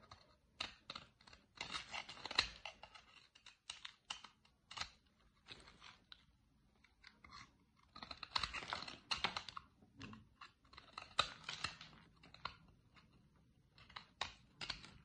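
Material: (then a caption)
Soap. A metal blade cuts chunks and flakes from a solid dry green soap bar held by a hand with long nails, and the pieces fall onto a grey surface beside an untouched empty cardboard soap box. Quiet, bright, crisp scraping and crunching comes in short bursts with brief pauses, and each cut ends abruptly with almost no ring.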